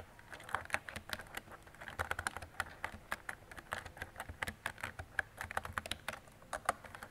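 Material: Plastic.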